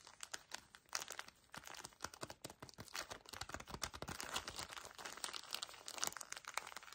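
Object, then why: Pocket tissue pack in thin plastic wrapper. A small pocket tissue pack in a plastic wrapper is gripped and crinkled by both hands. Dense, fast crinkling fills the clip with bright, sharp crackles and short bursts of rustle, with almost no low end and no ringing after each crackle.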